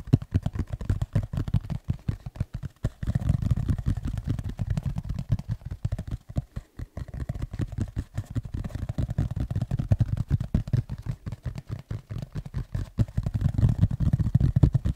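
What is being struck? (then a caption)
Tablet folio case with textured fabric cover. Fingertips tap and scratch the front of a flat black tablet folio case with a textured, fabric-like cover, held upright in both hands. The result is a dense stream of quick, dull, low thuds with a soft scratchy texture and almost no high end, briefly thinning out around the middle.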